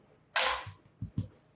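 A hot, freshly baked Easter bread loaf on a cooling grate is tapped again: a sharp, bright crackling tap is followed by two softer, low, hollow thumps. The hollow sound shows the loaves are properly baked through.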